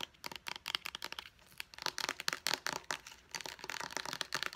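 Long blue acrylic nails rapidly tap and scratch a small, hollow white plastic pump bottle. The result is a fast run of dry, bright clicks with scratchy crinkling between them and almost no low end or ring.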